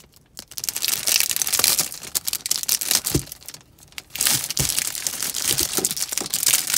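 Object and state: Plastic film wrap on soap bars.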